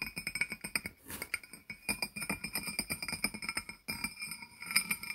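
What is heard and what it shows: A small, hollow, barrel-shaped glazed ceramic jar with its lid on is tapped on its sides with the fingertips and nails of both hands. The result is a quick, uneven run of bright clinks with short rings. The taps pause briefly around the first second and again just before the fourth.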